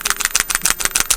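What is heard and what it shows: A small plastic squeeze bottle of orangey-brown paint wash is shaken, and a steel ball bearing inside acts as an agitator to remix the separated wash. It makes a rapid, bright, clicking rattle of short, sharp ticks with almost no low end. After shaking, the wash comes out an even brown.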